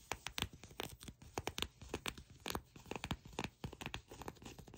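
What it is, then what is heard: Leather trousers. A fold of soft, brown glossy leather pants is tapped and scratched by long nails close to the microphone. Quick, crackly taps and scrapes with a bright edge come in rapid bursts, each dying away almost at once. Many short, dense hits run through the clip, over a low thump in the background.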